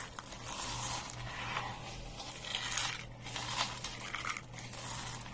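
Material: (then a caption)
Soap. Fingers dig into a pile of small, dry green soap flakes on a wooden table, squeezing them and letting them drop. The result is a continuous, bright, crisp crunching and crackling with a few sharper crinkly peaks, over a faint steady low hum.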